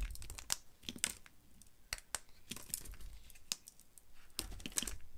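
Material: Soap.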